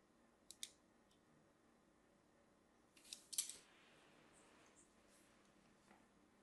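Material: Soap.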